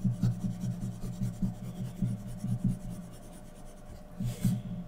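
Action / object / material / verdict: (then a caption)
scrape / graphite pencil on drawing paper / graphite, paper / none. A graphite pencil scratches fine detail strokes around the eyes and mask of a drawing on a thin sheet of white drawing paper resting on a flat surface. Quick, soft, rhythmic strokes repeat over a faint steady hum. The strokes fade lower for a moment before a brief, louder burst of scratching near the end.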